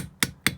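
Two light taps with a socket on a valve stem seal on an engine valve guide give short, sharp knocks with bright high-frequency content. The seal is fully seated on the guide, as shown by the changed tapping note.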